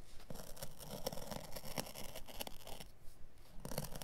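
A craft blade draws through and scratches along the pile edge of a carpet offcut with synthetic pile, its dark pile side held by the fingers. Quiet, dry rasping and scraping strokes come in short, uneven bursts, roughly two per second, with brief faint tonal glints and no ring after each stroke.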